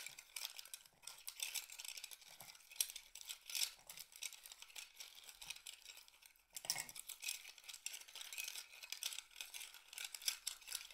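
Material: Shell.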